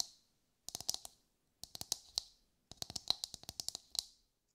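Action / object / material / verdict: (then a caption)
tap / whole husked coconut / coconut shell / none. Long light-grey nails tap a brown, husked whole coconut with a hard fibrous shell, held in both hands. Three bursts of quick, dry, bright clicks with almost no low end stop instantly, separated by short silences.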